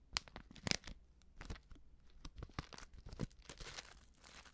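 Long nails and fingertips crinkle and scratch a small, flat, filled Betty Bossi Fladli instant soup packet made of plastic foil while turning it. Quiet, irregular bursts of crisp crinkling and scratching alternate with sharper, brighter crackles. Each sound stops almost instantly.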